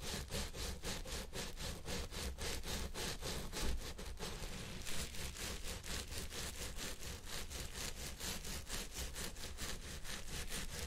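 Fingertips and nails rub and scratch the fibers of a purple synthetic wig on a head form, working both sides. Rapid, rhythmic scratching strokes make a steady, bright, raspy hiss over a low rumble, with little pause throughout.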